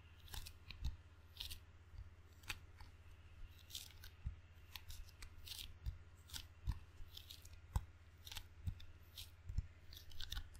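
A table tennis paddle with a solid wooden blade and red sticky rubber facing is held in both hands while fingertips tap on the rubber and pull off its tacky surface. Quiet, irregular sticky clicks and bright peeling crackles sound throughout, each dying away instantly over a steady low hum.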